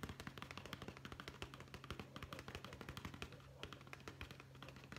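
A hollow brown leather zippered pouch, held horizontally, is tapped rapidly with the fingertips of both hands. Dozens of quick, dry, muffled taps with a short bright click follow one another for five seconds over a faint, steady low hum.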